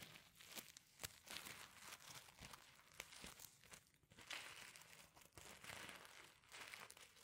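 A palm and fingers brush the reversible sequins over on a flat sequin fabric pencil case. The result is a quiet, bright, crinkly rustling broken up by many sharp little clicks as the sequins flip, with almost no low end and no ring after each flick.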